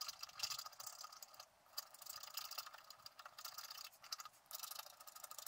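A thin wooden stylus held in the fingers scrapes the black wax coating off the squirrel outline on a flat scratch-art sheet from a book, with a coloured garden picture underneath, while the other hand holds the sheet on a table. The result is a quiet, dry, bright scratching made of quick, rapid strokes with no low end. It pauses briefly near 1.5 seconds and again around 4 seconds.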